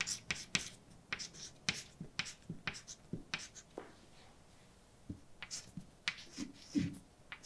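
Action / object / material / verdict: scrape / chalk stick on painted blackboard / chalk / none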